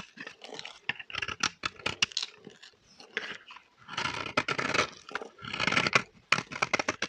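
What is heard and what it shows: A metal blade scrapes crumbly shavings from a solid, dry, vintage orange bar of soap held in the hand. The result is a run of dry, crunchy, tearing scrapes in quick uneven bursts, bright and crackly with very little low end.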